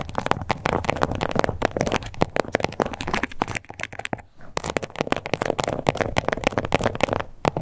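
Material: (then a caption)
Faux leather. Long acrylic nails scratch over the raised scales of a small, flat, glossy pink crocodile-embossed faux leather card holder. The result is a dense, continuous run of rapid crackly scratches and sharp little clicks, mostly in the low and middle range with little high-end brightness. The scratching briefly eases just past the four-second mark before picking back up.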